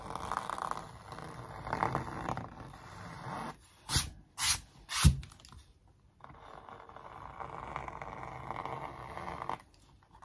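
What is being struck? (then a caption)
Stretched canvas on a wooden frame. A thin wooden stick traces the sneaker outlines across a large printed canvas stretched on a wooden frame, hollow-backed. Soft, continuous scratchy scraping runs at a low level, broken by three short, brighter zipping strokes near the middle before the steady tracing resumes.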